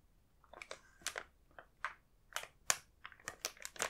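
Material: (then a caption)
Plastic film. A sealed, full, medium blue printed plastic film bag of Balance Power snack bars is held in both hands and turned over, its film crinkled by the fingertips. Short, bright crinkling bursts come in quick, separate clusters with near silence between them. There is almost no low end.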